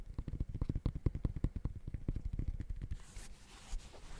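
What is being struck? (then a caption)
Sneaker with textile mesh upper. Fingertips rapidly tap the mesh textile upper of an empty gray high-top sneaker held in front of the mic. The taps land as a fast run of soft, muffled low thumps with almost no ring. They stop at about three seconds, leaving a faint breathy rustle.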